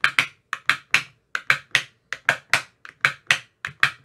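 A thin metal rod with a white rounded tip taps inside the hollow cells of an empty, translucent, frosted plastic ice cube tray with 15 compartments. Sixteen short, dry, hollow clicks ring out in an uneven rhythm, each bright and centered around 1.9 kHz, dying away almost instantly.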